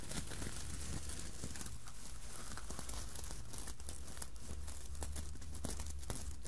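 Long nails scratch over the sequins of a red sequined Santa hat with white fluffy trim, soft and not hollow, while the other hand holds the white brim. A steady, crinkly scratching is heard, full of rapid sharp ticks and bright rustle over a constant low hum.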